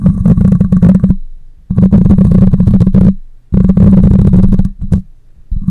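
Long nails scratch the side of the cylindrical metal mesh grille on a black condenser microphone. The result is a dense, scraping rumble heavy in low frequencies with a steady hum near 176 Hz, coming in several sustained bursts separated by brief quiet gaps.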